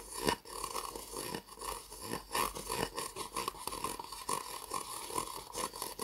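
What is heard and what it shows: An empty white disposable plastic cup, hollow and upside down, is held in the hands while fingernails tap and scratch its sides. The result is a steady run of quick, light clicks and scratchy scrapes with a hollow, plasticky ring around 1 kHz and bright, crisp edges. Each tap dies away almost at once.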